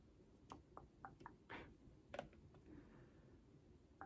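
Long painted nails tap the top and sides of a holographic cardboard album box held below the face. The result is a quiet, uneven series of short, dry clicks with almost no ring, plus one broader, brushing swish partway through.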